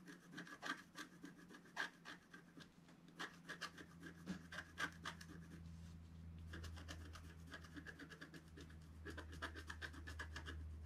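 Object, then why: Coated scratch art paper sheet with wooden stylus. A wooden stylus scratches repeated strokes into the black coating of a flat, thin scratch art sheet. The strokes make dry, rasping scratches with a bright edge and a steady band near 1.6 kHz. A constant low hum runs underneath throughout.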